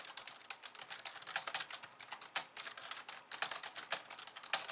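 Fast two-handed typing with long nails on a pink plastic slim keyboard with white keys. The result is a rapid, uneven stream of light, bright clicks and taps with almost no low end, each one dying away almost instantly.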